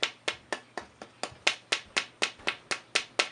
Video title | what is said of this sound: Luthier Wood Review: Cocobolo for tops fretboards dense wood from Mexico tonewood | very bright tap tone. The sound really jumps off of this.